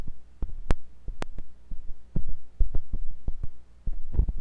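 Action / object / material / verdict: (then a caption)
scrape / silicone ear of a binaural microphone probed with a metal tool / silicone / none. A thin metal pointed sculpting tool with a wooden handle, held by fingers with long pink nails, scratches and pokes inside the ear canal of a white silicone ear on a block-shaped binaural microphone. Deep, muffled thumps and rubbing scrapes sound over a steady low hum, with a few sharp, bright clicks cutting through.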